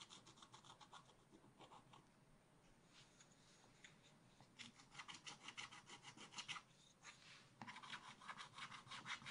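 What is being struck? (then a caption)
Coated scratch art paper scratched with a wooden stylus. A wooden stylus scratches a black-coated scratch art card in a spiral pad with fast back-and-forth strokes, producing a bright, dry rasping. The strokes start quiet and soft, then grow louder and denser in rapid bursts over the second half, with a brief lull just before the end.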